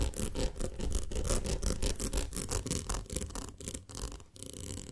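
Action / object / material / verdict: scrape / ribbed glass jar of honey / glass / none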